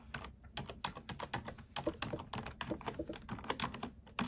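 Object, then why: Plastic computer keyboard. Fingertips and nails type quickly on a black plastic computer keyboard. The result is a rapid, uneven run of short, crisp clicks and taps that cut off almost at once, with a dull low thump under each press.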